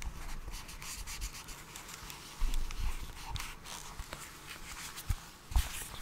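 Gloved fingertips scratch and tap a small, hollow, printed cardboard box labelled "USB Camera Adapter," held close in front of the microphone. A steady, dry rubbing scratch with bright rasping edges runs throughout, broken by a few soft, low, hollow thumps that die away almost instantly.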